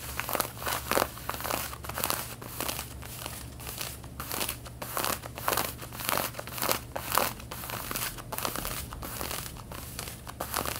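Long painted fingernails of both hands scratch across the back pockets and seams of light-blue cotton denim jeans worn snugly, the fabric stretched over a soft backing. Irregular bursts of dry, crinkly, bright scratching rise and fade over a steady low hum, each stroke dying away quickly.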